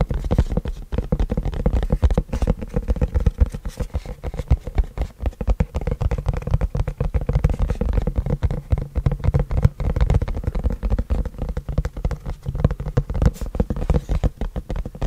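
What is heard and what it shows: A long, flat white printed cardboard keyboard box, apparently still holding its contents, is held upright in both hands close to the mic while fingertips tap and scratch its surface. The result is a continuous stream of quick, soft, muffled taps and scratchy rustles, deep and hollow in tone with almost no bright edge, and each tap dies away at once.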